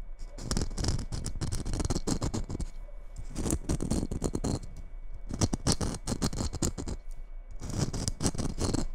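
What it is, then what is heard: Glitter-coated Christmas bauble scratched. Long red nails scratch the coarse glitter surface of a hollow red glitter Christmas bauble, held first in the fingers and then in both hands. Repeated bursts of fast, gritty scratching crackle over the glitter, with a dull low rustle under bright, crisp edges. Short pauses separate the bursts.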